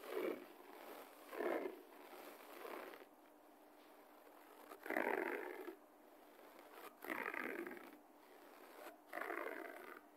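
Fingernails and fingertips of one or both hands scratch fast across a low-pile beige carpet floor. The sound is a dry, raspy scraping that comes in about six bursts, with a faint steady hiss between them. It is mostly midrange, with no deep low end and only a little high brightness.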